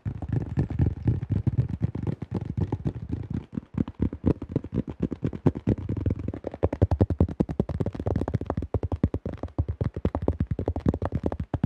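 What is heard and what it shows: Fast fingertip tapping on the flight plate and rim of a tan plastic disc golf disc with a blue rim and thin shell. The taps come as a rapid, dense stream of short, dull, low thuds with almost no ring, centered around a low hollow tone with little high-end brightness.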